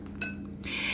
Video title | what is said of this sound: CRISPY Air Fryer Wings - What's the SECRET? | when I shake them, you can hear how crispy they are